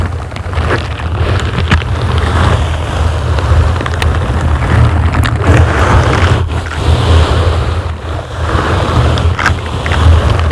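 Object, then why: Foam microphone windscreen. Both hands in purple and green silicone scrubber gloves with bristles slowly scratch and rub a large, solid dark grey foam windscreen on a microphone. A heavy, steady low rumble dominates, overlaid with a continuous crackly, rustling scratch texture and occasional brief sharp clicks.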